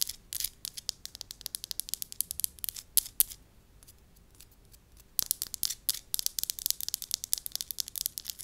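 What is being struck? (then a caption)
Small disc of soft wax. Long lilac acrylic nails tap and scratch a small, flat, cream-colored disc of soft, moldable solid wax held in one palm. The result is a rapid run of crisp, very bright clicks and scrapes with almost no low end, broken by a quiet pause of about two seconds midway before the tapping resumes just as densely.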